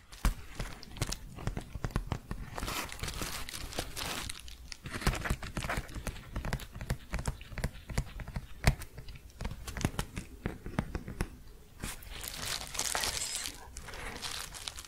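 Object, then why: Padded paper envelope. A large, flat, empty-looking yellow padded paper bubble mailer is crinkled and scratched with long painted fingernails. Dense, dry crinkles and quick scratchy strokes crackle continuously, with brighter rustling bursts standing out over a low, steady rumble.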